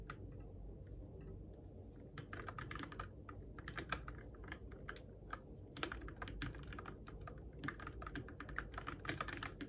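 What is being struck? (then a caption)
Mechanical keyboard with plastic keycaps. Fingertips tap the plastic keycaps of a Keychron K6 compact RGB-backlit mechanical keyboard in the dark, producing a stream of short, crisp clicks and clacks over a low steady hum. The typing starts sparse, then picks up into bursts of quick keystrokes with a few louder taps, each dying away almost instantly.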